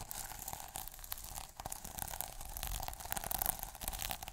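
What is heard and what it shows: A fingertip and short nail scratch the plastic sequins on the cover of a small sequin notebook. The result is a continuous dry, crackly scratching with bright clicky ticks over a low rumble.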